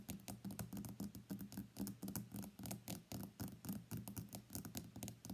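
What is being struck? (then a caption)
Smartphone with glass back. Fingertips and nails tap rapidly on the white glass back of an iPhone X lying face down on a mat. The result is a quick, uneven patter of soft, short clicks and thuds with a low, muted body and little ring.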